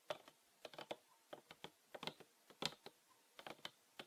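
Fingernails tap and scratch along the ridged sides of a mid-size green PET plastic bottle with a red cap and a Winarom label, filled with green liquid. Quick, sharp, bright clicks come in irregular bursts, each dying away almost instantly, with quiet gaps between them.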